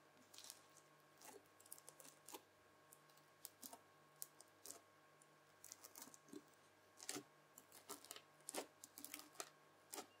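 A white plastic fork presses into and lifts a folded lump of red bubbly slime, making quiet, irregular crisp crackles and pops that are bright and dry, each dying away almost instantly. A faint steady low hum runs underneath throughout.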